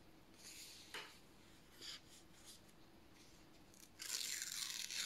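Fingertips slowly tear a narrow strip of thin white printed paper lengthwise while it is held vertically. Soft, bright rips and crackles come in short bursts, then build into a louder, sustained tear over the last second. A faint steady low hum sits underneath throughout.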